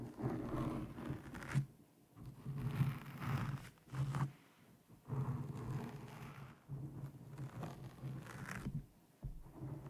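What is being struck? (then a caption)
Foam windscreen over a microphone. Long painted nails of both hands scratch and stroke a soft, porous black foam windscreen over the hollow head of a condenser microphone. The result is deep, muffled, rumbling scratches and rubs with a low droning tone, coming in waves separated by brief near-silent pauses.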